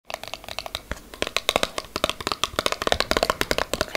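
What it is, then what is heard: Cardboard box. A small, empty-looking yellow paperboard product box with a passion fruit print is held in both hands and tapped and scratched with long acrylic nails. About 25 quick, bright, dry clicks and scratches follow each other at an increasing pace, with little low end and almost no ring after each hit.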